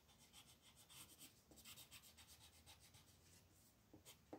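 A brown-red colored pencil shades tree branches on a flat paper coloring book page with repeated rubbing strokes. The result is a quiet, steady, bright scratchy rasp that pulses with each back-and-forth stroke.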